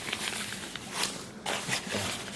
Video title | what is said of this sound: 고어텍스 2레이어 vs 2.5레이어 vs 3레이어 간단비교(goretex 2layer vs 2.5layer vs 3layer) | 바스락거리는 게 좀 있어요. 왜냐면 섬유 자체가 세 개를 하나로 뭉쳐놨기 때문에 바스락거리는 게 있습니다.